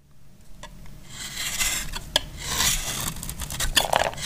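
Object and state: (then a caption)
Dry soap bar shaved with a blade. A utility knife blade scrapes across a solid, hand-sized bar of dried red soap held in the hand, shaving off crisp flakes. Dry, bright, raspy scraping swells and fades in strokes, broken by short sharp clicks as the flakes snap away.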